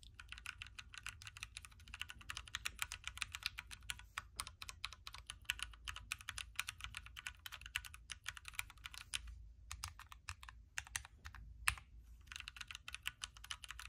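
Two hands type steadily with their fingertips on a backlit Keychron Q3 hot-swappable mechanical keyboard with a knob, red switches, a metal case and plastic keycaps. The result is a rapid, continuous stream of short, bright, clacky key hits over a faint low hum, with brief pauses near the end.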